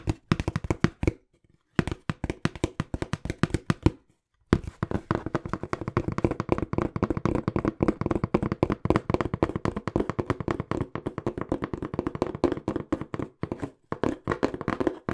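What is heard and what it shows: Fingertips rapidly tap a small, hollow, brown corrugated cardboard box held close to the mic, producing fast streams of dull, low, hollow thuds with almost no ring. The tapping comes in quick bursts broken by a few brief pauses.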